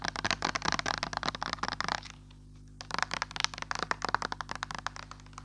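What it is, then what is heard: Plastic hand sanitizer bottle. Long nails and fingertips rapidly tap a clear plastic pump bottle of hand sanitizer, partly filled with green gel. The bursts of short, dry, bright clicks and crackles stop briefly in the middle, leaving a faint low hum, then resume at the same quick pace.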